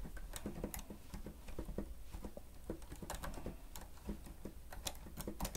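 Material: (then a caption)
Plastic. Fingertips of both hands press and tap the keys of a grey plastic stenotype keyboard with a hollow housing while typing. Quiet, irregular plastic clicks and hollow taps come in quick bursts over a steady low background rumble, with some brighter clicks cutting through. Each tap dies away almost at once.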